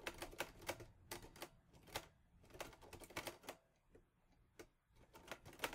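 Fingertips type on the keys of a teal metal Olivetti Lettera 22 portable typewriter. Quick, bright clacks come in bursts with short pauses and a quieter gap near the middle, each strike dying away almost at once.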